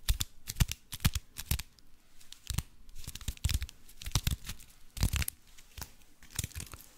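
A hand-sized block wrapped in crinkled aluminium foil is held in both hands while fingertips and nails scratch, squeeze and crinkle the foil surface. Many sharp, dry crackles and tearing-like crinkles burst out in irregular clusters, each one brief with a bright, hissy top and a soft low thump from the handling.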